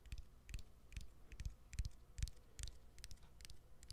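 Fingernails tap on the exposed battery and plastic frame of a smartphone with its back cover removed. A quick, slightly uneven run of short taps is heard, each a dull low thump paired with a bright click that dies away almost instantly.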